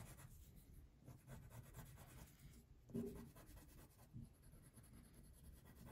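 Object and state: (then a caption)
Paper coloring sheet being shaded with crayon. A purple wax crayon shades a thin printed paper coloring sheet lying flat on a table, making continuous soft, low rubbing strokes of wax on paper. The scratchy rasping stays steady and muffled, with two slightly louder strokes near the middle and toward the end.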